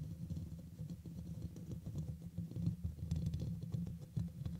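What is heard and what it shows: Fingernails on both hands scratch the hollow black metal mesh dome grille of a red microphone. The result is a dense, low, rumbling patter of quick scratches and taps, with almost all of the sound below 200 Hz and each tap dying away almost at once.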